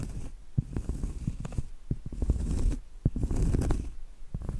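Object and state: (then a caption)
Cork trivet. Medium acrylic nails tap and scratch on a round, flat, solid cork trivet board held upright. Dull, dry, low taps with almost no ring alternate with soft, rough scratching that swells and fades. The result is a muffled, thuddy texture with very little brightness.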